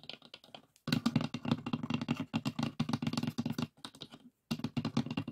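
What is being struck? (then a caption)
Light pine wooden box with a metal latch. Fingertips and nails rapidly tap and scratch the lid of a closed, hollow, light pine wooden box with a metal latch. The result is a dense run of soft, clicky knocks with a hollow low thump around 230 Hz, each dying away almost instantly. Two brief silent pauses break the run.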